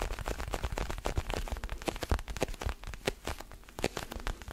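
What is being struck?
Small rubber ball with pebbled surface.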